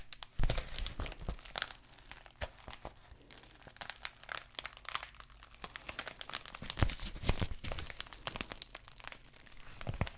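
Long nails tap and scratch across an empty white padded plastic bubble mailer envelope and crinkle it. The result is a quiet, steady stream of dense crinkling with many sharp, bright clicks and brief louder crunches.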